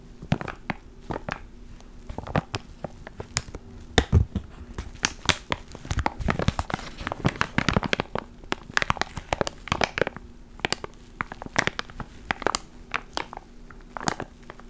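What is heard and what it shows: A small clear plastic ziploc bag with a black foam mic cover inside is held in one hand and crinkled with the fingertips. Dense, irregular crinkling and crackling fill the clip with sharp, bright clicks and brief crushing bursts, over a faint steady low hum.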